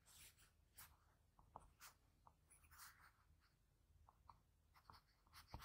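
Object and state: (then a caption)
Pencil strokes on drawing paper. A graphite pencil scratches short strokes on a sheet of drawing paper near the eye of a sketch. Soft, dry scratching comes in brief bright bursts over a low steady hum, with several sharper taps between the strokes.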